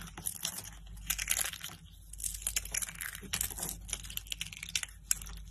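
Thin, hollow blue-and-white striped dry soap curls are crushed between fingertips with lilac nails, breaking into brittle, snapping shards. Dense bursts of bright, dry crackling and crunching come in quick clusters, each snap dying away almost instantly. A faint steady low hum sits underneath throughout.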